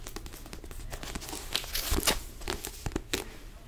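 A small yellow paperback sudoku book with a paper cover is held upright while fingertips tap and scratch across the front cover. Quick dry taps mix with papery scratching and crinkling, with brighter scraping bursts near the middle and later in the clip.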